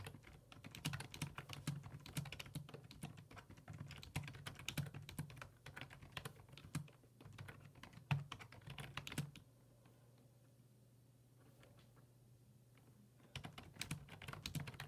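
Fingertips type on the hollow plastic keys of a black plastic full-size computer keyboard resting on a wooden desk, producing rapid, repeated clicky taps. The typing stops for about four seconds, leaving only a steady low hum, then resumes near the end.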